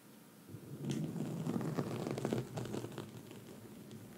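Long red nails on both hands scratch a black foam microphone windscreen throughout, making a dense, crackling, rustling scratch with a heavy low rumble. The scratching starts after a faint half-second lead-in, swells to its busiest around two seconds, then eases into a softer, steady scratch until the end.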